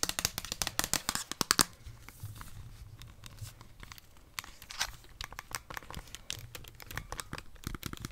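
A plastic Nintendo Switch handheld console with red and blue Joy-Cons is held in both hands while long, dark-painted nails tap on it and press its buttons. Dense, sharp clicks and ticks come fast in the first moment, then settle into softer, scattered tapping over a low background rumble.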